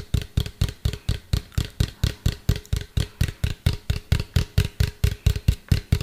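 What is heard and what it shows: A medium hollow white plastic cylinder, held upright, is tapped with fingertips and nails in a steady rhythm of about two taps per second. Each of the 28 taps gives a short, deep, hollow thump with a faint bright click on top, and it dies away almost at once.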